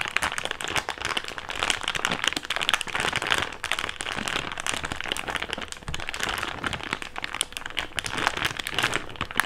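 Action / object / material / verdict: scrape / thick plastic bag / plastic / none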